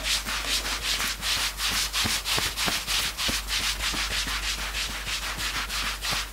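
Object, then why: Knit fabric sweatshirt. Fingertips scratch quickly and hard across the sleeve and chest of a worn knit sweatshirt. The rapid back-and-forth strokes, about three per second, make a steady, bright, hissy rasp with little low end.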